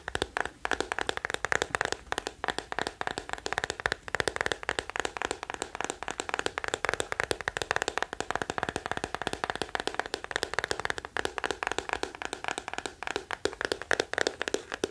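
A small teal plastic scalp massager with a hollow hard back is held close while fingertips and nails tap rapidly on its shell. The result is a dense, continuous patter of dry, sharp clicks and cracks that stops almost instantly, centered in the mids with a bright edge and very little low end.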